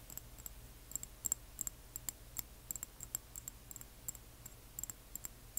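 Long nails tap and scratch a small frosted amber glass serum dropper bottle holding liquid and wearing a paper label, then tilt it. The result is a quiet run of crisp, very short high clicks, about 23 of them, with a bright glassy ping in the high range and no ring, over a faint low hum.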